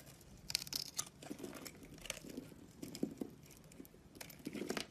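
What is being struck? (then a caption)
Bar of soap. A box-cutter blade scrapes and carves the scored surface of a solid round soap bar with an orange rim and a pink core, held in the palm. Small crumbly cubes shed off with a series of dry, crisp scraping and crunching sounds, bright and close. The carving comes in short bursts between quieter pauses.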